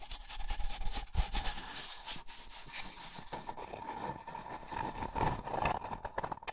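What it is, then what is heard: Paper cup. A small, hollow, empty white paper cup is held in both hands while fingertips and nails rub and scratch its outer wall. The result is a continuous, uneven papery scratching and rubbing with a faint hollow tone near 800 Hz, bright hiss above it, and soft low rumble underneath.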